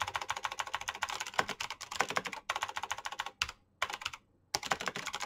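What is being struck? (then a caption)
Plastic mechanical keyboard. Fingertips type steadily on a black plastic mechanical keyboard with clicky switches, producing a fast stream of short, bright, sharp clicks. The typing breaks off in a few brief pauses near the end before resuming.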